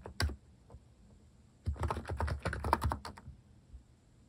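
Fingertips type at a moderate pace on a compact plastic mechanical keyboard with plastic cat keycaps. A single sharp click is followed by a pause, then a quick run of short, dry clacks with a low thock before a few scattered taps trail off.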